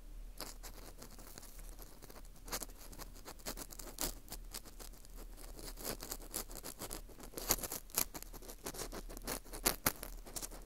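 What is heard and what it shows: An orange plastic earpick scrapes and scratches inside the hole of a hollowed ring of dry, porous Japanese fu (dried wheat gluten), held in a gloved hand close to the mic. The result is a steady stream of soft, crackly scratching with quick, bright clicks and pops, some sharper toward the end. A faint low hum runs underneath throughout.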